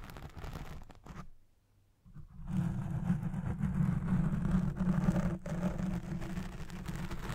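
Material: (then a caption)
Foam. Fingertips with long red nails scratch and rub across the soft, domed black foam windscreen of a Blue Yeti Pro microphone. The result is a dense, low rumbling scrape with a steady hum-like tone. It starts in uneven bursts, nearly cuts out for about a second, then returns louder and continuous.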